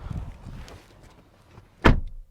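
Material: Steel.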